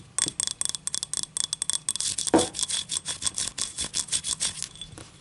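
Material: Ceramic.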